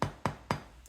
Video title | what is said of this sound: Pain au Maïs INRATABLE en MAP | il a un beau bruit cuit